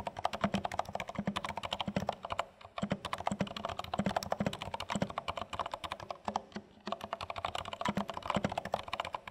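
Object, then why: Plastic mechanical keyboard keys. Two hands type continuously with their fingertips on a compact dark plastic HHKB Studio mechanical keyboard with plastic keycaps. The result is a rapid stream of short, crisp key taps with a low thocky body and a mid-range clack, each dying away almost instantly. Brief pauses break the typing near 2.7 and 6.5 seconds.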